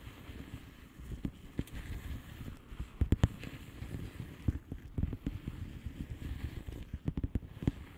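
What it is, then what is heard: Plastic bubble wrap envelope. Long painted nails on both hands tap a flat blue plastic bubble wrap envelope with air-filled bubbles. They make a steady run of soft, dull taps with a few sharper clicks over a low rustling bed. Each tap stops almost at once and leaves little brightness.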